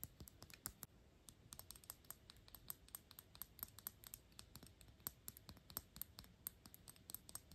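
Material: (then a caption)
Metal. Long pink nails tap quickly on the small, hollow, shiny gold-tone metal cap of a Gucci glass perfume bottle, held above it. The result is a rapid, uneven run of sharp, dry clicks with a bright metallic tick and almost no ring, over a quiet low background.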